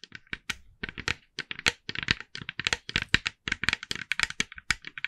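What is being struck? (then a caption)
Hollow plastic pumpkin figure. Long nails of both hands tap rapidly on a hand-sized hollow orange plastic jack-o'-lantern with a carved face, held steady. About thirty crisp, bright clicks come in quick irregular bursts, each dying away almost instantly with no ring.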